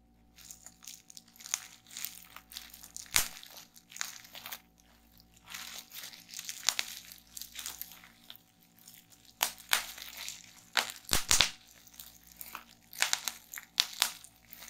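Bunched clear plastic bubble wrap is held in both hands while fingertips squeeze and pop the bubbles and crinkle the sheet. Bright, dry crinkling runs throughout, punctuated by sharp, short pops, with the loudest snaps near the middle and end over a faint steady low hum.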